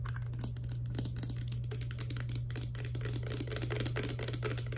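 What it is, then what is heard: Plastic pump bottle. Long nails rapidly tap the body and green plastic pump head of a small clear plastic hair serum pump bottle. The result is a fast, continuous stream of short, crisp plastic clicks with a bright edge, over a steady low hum.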